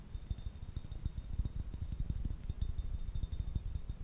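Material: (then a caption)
Glass. Fingertips and nails rapidly tap and scratch a small, elongated dark blue-purple glass piece held close to the microphone. The result is a dense run of soft, dull, low thuds that stop quickly, with no ring, and a faint steady high tone underneath.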